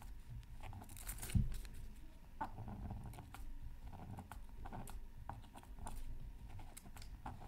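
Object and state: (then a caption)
Scratch art paper being scratched. A pointed wooden stylus held in the fingers scratches a thin black-coated scratch art card with colour beneath, from a Mythical Creatures Super Scratch Art pad, lying flat on a mat and partly covered by tissue paper. Quiet, dry scratching strokes and light taps come in short bursts over a low, muffled rumble, with brief bright scrapes. One sharper knock stands out early on.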